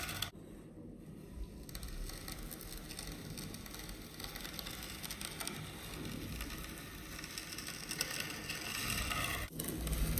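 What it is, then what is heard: Kinetic sand raked with a metal comb. A multi-tine stainless steel comb tool is dragged through a flat, solid rectangular slab of yellow kinetic sand resting on a white surface, raking grooves into it. The result is a steady, grainy scratching and raking rustle with broadband texture, briefly dropping out near the start and again just before the end.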